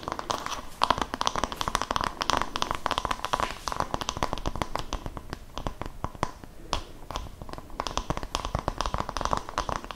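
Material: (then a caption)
Wood. An oval wooden massage brush with a cream strap is turned in both hands while long nails and fingertips tap its solid wooden back. The result is a dense, continuous run of quick, dry clicks and taps with a crinkly, crackling texture, each tap dying away almost instantly.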